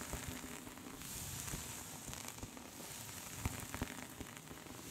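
Long pink nails on both hands scratch along a soft pink cable-knit knitted scarf lying flat. A quiet, continuous crackly scratching hiss with a bright edge runs throughout, broken by a few sharper ticks near the end.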